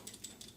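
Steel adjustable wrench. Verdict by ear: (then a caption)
Tight. A steel Milwaukee adjustable wrench is shaken, giving three faint, bright metallic clicks with little rattle. The quiet sound shows a tight adjustment mechanism.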